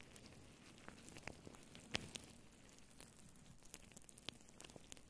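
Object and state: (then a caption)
Faux fur microphone windscreen being scratched. Long nails scratch and rub a faux fur microphone windscreen, a soft hollow cover, with both hands. The result is a quiet, steady crackly rustle, dotted with sharp, bright little ticks and crisp scrapes.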